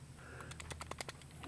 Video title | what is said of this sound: Springfield Armory Champion Operator .45 ACP | There's just the ever so slightest movement in the slide on top of the rails